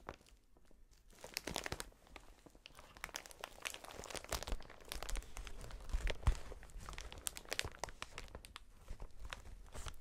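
A strip of clear, hollow, air-filled plastic air cushion packaging is held in gloved hands and squeezed and crinkled. Dense, dry crackling and crinkling bursts with sharp bright snaps start quietly, grow louder toward the middle, then ease off slightly, over a soft low rumble from the handling.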